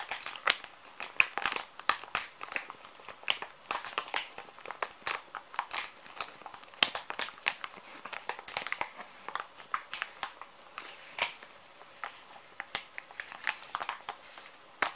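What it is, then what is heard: Plastic wet wipes packet. Fingers squeeze, tap and crinkle a small, full plastic-film wet wipes pouch. The result is a dense stream of bright, dry crinkles and sharp crackling snaps with almost no low end, each dying out at once.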